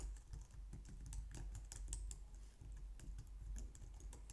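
Long painted nails and fingertips type on a low-profile white/light-grey plastic wireless keyboard resting on a glitter mat on a wooden desk. A quick, steady run of light plastic tapping clicks with bright click edges sits over a low, soft rumble.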